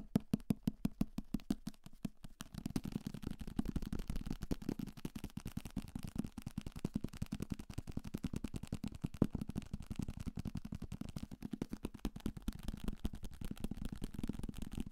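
A thick paperback novel, a solid paper book held close to the microphone, is tapped rapidly with fingertips and nails on its cover and page edges. Separate, evenly spaced taps in the first couple of seconds give way to a dense, nonstop flurry of dull, dry thuds. The taps have a low papery body around 200 Hz and almost no bright top.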